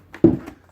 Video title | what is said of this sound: Battle of the Canvas: CG Pro vs Artsy Couture | it sounds hollow when you tap it